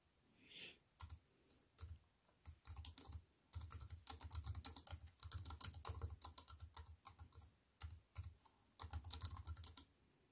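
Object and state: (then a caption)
Aluminium and plastic computer keyboard being typed on. Fingertips with long white-painted nails type on a slim wireless keyboard with a silver aluminium frame and black plastic chiclet keys, resting on a wooden table. Rapid bursts of short, bright key clicks over soft low thumps are broken by brief pauses, and each click dies away almost instantly.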